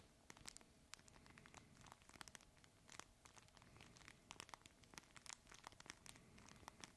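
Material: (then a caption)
Fabric. A red fabric plush crinkle toy, held horizontally in both hands, is squeezed and scratched with the fingertips. It makes quiet, dense, bright crinkling and crackling with many sharp, short ticks over a soft, low rustle.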